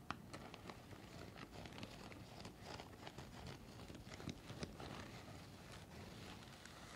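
A white folded N95 respirator of stiff nonwoven fabric with a hollow cup shape is held in both hands in front of the face and crinkled and scratched with fingertips and nails. A soft, steady stream of dry crinkling and scratching plays throughout, with brief sharper ticks standing out now and then.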